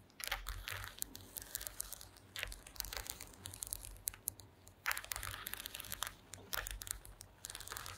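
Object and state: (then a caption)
Woven wooden mat. Long green acrylic nails tap and scratch across a flat, thin, solid woven wooden slat mat. Dense, dry crackling and scratching with sharp bright clicks comes in uneven bursts over a faint low hum, each tap dying away at once.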